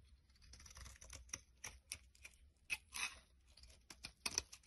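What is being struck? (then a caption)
Laundry bar soap scraped with a knife blade. A solid tan bar of laundry soap, held in the hand, is scraped with a utility knife blade over a pile of soap crumbs. About thirteen short, dry, bright scraping strokes come at an uneven pace, with crisp, crackly shaving noise and almost no low end. The strokes are quiet and stop at once without ringing.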